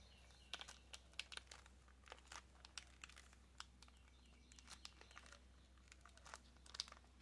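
Long nails tap and scratch a small, hollow white cardboard nail box in clear plastic wrap. The result is a quiet run of crisp, bright clicks and crinkly scratches over a faint steady low hum.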